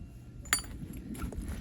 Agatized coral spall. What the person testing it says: It already sounds like glass.